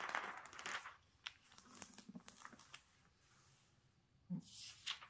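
Fingertips and a palm rub and smooth the thin coated pages of an open glossy magazine lying on a table, then turn a page. Soft, bright paper swishes and crinkles come in uneven bursts with light taps between them, ending in a louder rustling sweep as the page turns.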